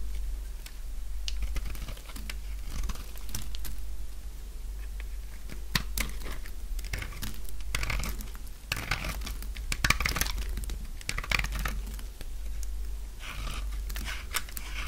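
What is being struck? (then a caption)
Bar of soap. A utility knife blade scrapes and shaves brittle flakes off the edge of a solid light-blue bar of dry soap held in the hand. The result is a dense run of dry, crisp crackling and scratchy shaving bursts with bright edges over a steady low hum.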